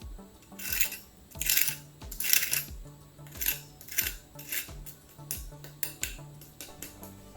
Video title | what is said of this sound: How to make the CRISPIEST ONION PAKORA!! | just listen to how crispy they are